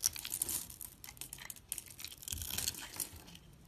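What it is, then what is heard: Soap bar scraped with a blade. A metal box-cutter blade scrapes across a solid white soap bar with a blue mosaic-patterned edge that has been scored into small cubes. The result is a bright, crisp crackling and crunching, with quick dry scraping bursts as the soap cubes crumble off.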